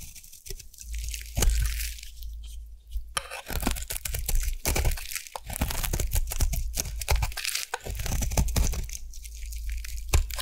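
A solid, round orange soap bar from the Savannah collection, held in the hand, is carved into shavings with a metal blade. Dense, rapid crunching and tearing scrapes follow one another over a steady low hum, with a few brighter, sharper cuts standing out. Thin curls of soap are shaved away.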